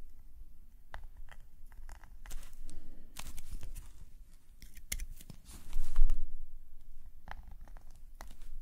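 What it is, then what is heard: Paper scratched by a metal nib pen. A metal nib pen scratches lines across a black paper sketchbook page lying flat on a table, with the other hand resting on the table. Short, dry scratching strokes come in irregular bursts with bright, papery edges over a faint low hum, swelling to the loudest pass around the sixth second before settling back into lighter strokes.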